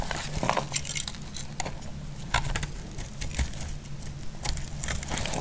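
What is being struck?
Solid bar of soap.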